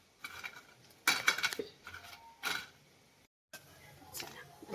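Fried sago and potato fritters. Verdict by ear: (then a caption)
Crisp. Fried sabudana-potato fasting fritters are tapped or moved, giving a run of bright, crisp clinking hits with very short ring. The sharp, hard sound shows the fritters have turned out crisp.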